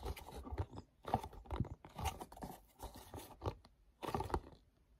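Fingertips tap on a small, hollow, printed paperboard mochi box and rub with sticky fingers across its front and back surfaces. Short bursts of crackly, papery scraping and grip noise mix with soft, low hollow thumps, separated by brief quiet gaps.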